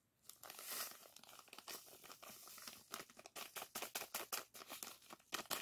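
Fingers squeeze, rub and crinkle a small clear plastic zip-lock bag of purple sand granules held in the hands. A bright, dry plastic crinkle and gritty sandy rustle start soft and grow into a quick run of sharp crackles toward the end, with nothing low in the sound.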